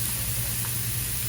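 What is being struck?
Nothing is struck.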